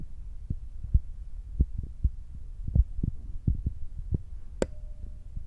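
Fingertips tap on top of the soft black foam windscreen of a Zoom recorder, making a steady series of dull, muffled low thumps with almost no high end. Near the end, one sharper, brighter click stands out and leaves a faint lingering tone.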